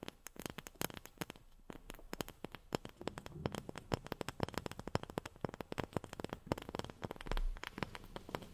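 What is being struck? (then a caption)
Wooden object tapped with fingernails. A wooden object is tapped quickly and steadily with long fingernails, producing dozens of short, crisp clicks that stop almost instantly with a dull, woody low end. The taps come in uneven bursts at a quiet level, with a brief low thump near the end.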